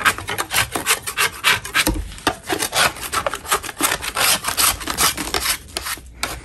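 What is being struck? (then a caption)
Chalk block scraped with a metal blade. A metal spatula blade scrapes a solid lump of natural chalk to clean the block, making a fast run of short, dry rasping strokes. The scrapes are gritty and bright, with little low end, and each one stops abruptly without ringing.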